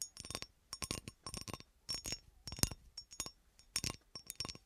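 A textured cut-glass horseshoe is scratched and tapped, mostly scratched. Irregular bursts of bright, high glassy clinks and scrapes die away almost at once, separated by short quiet gaps.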